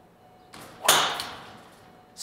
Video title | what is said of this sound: 松山プロを支える”ゴルフの科学”！ 極めればメジャー制覇 スイングロボの凄すぎる正体 | 少し低めの音でしかもマシンで捉えないとこの音は出ない作りにしたそうです